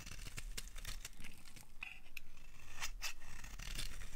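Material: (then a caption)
Soap. A utility knife blade carves the edge of a solid, dry orange-red bar of soap into curls, producing a steady run of crisp, dry scraping strokes. Bright, brittle clicks and crunches stand out above a low, soft rumble.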